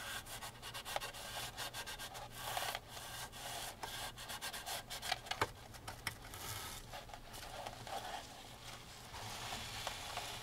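A gloved hand vigorously rubs the textured painted canvas of an upright framed oil painting with a wooden frame, using a grey microfiber rag. The result is a steady, bright, scratchy friction sound in quick repeated strokes, with a faint low hum underneath.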